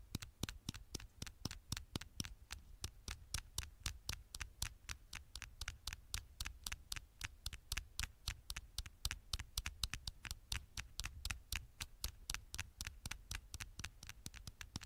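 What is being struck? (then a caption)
Aluminium smartphone back. Fingertips and nails tap and scratch the gold aluminium back of a smartphone held upright. About 68 short, dry clicks come in a quick, uneven patter, each sharp and bright with a soft low thump beneath and almost no ring.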